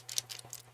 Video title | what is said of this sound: Water Color Painting on Quilts.....and Acrylic Markers Too!!! Live hangout with Lisa Capen | There's a little ball rattling.